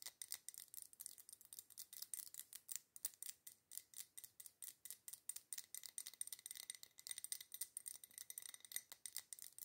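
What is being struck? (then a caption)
Glass candle jar filled with wax. Long nails rapidly tap and scratch the sides of a wide red glass candle jar filled with solid dark scented wax, resting on a table. A quick, steady stream of quiet, bright, dry clicks with very short ring and a faint high glassy tone, with no low end.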